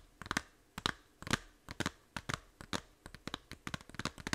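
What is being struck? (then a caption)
Small plastic game case. Long nails tap and scratch the back cover of a small, hollow plastic 3DS game case held in both hands. About eighteen short, dry clicks and scrapes come in an uneven run, each crisp and bright with almost no ring.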